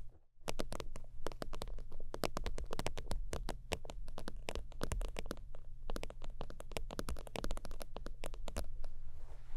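Fingertips and long nails tap and scratch the padded top of an iridescent, holographic faux-leather (synthetic-leather) zip wallet resting on a fur blanket. Quick, dry, bright clicks come in dense irregular bursts, each dying away almost at once. A steady low hum runs underneath throughout.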